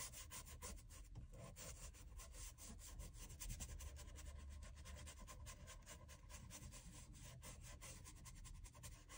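A small wooden-handled bristle brush scrubs cream into the solid leather outsole and waist area of a loafer held upside down. It makes a steady, rapid back-and-forth rubbing scrape with a low, muffled body and bright bristly hiss on each stroke. The scrubbing stays even and continuous throughout.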